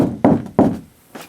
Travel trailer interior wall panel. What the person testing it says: off to each side it's Hollow till you hit another a stud